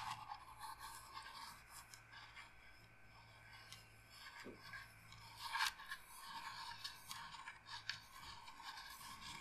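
Long nails slowly scratch and rub the carved surface of a hollow carved wooden incense box held in the hands. The sound is a quiet, dry, bright rasping scrape that keeps going with uneven strokes and a few sharper scratchy peaks, over a faint low steady hum.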